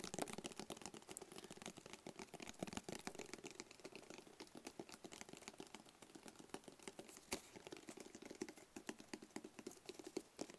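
A small, hollow, closed black rigid cardboard gift box is held in both hands and tapped rapidly with the fingertips. The result is a quiet, continuous patter of short, dry taps with a hollow low-mid tone and bright clicky edges that die away almost instantly.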